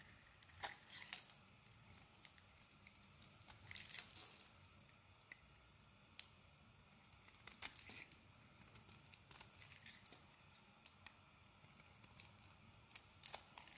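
A metal blade scrapes curls off a solid dark green bar of soap. Quiet, bright, crisp scraping and crinkling comes in short strokes with sharp little clicks, with a denser, louder scraping burst near the four-second mark. Each stroke dies away almost instantly.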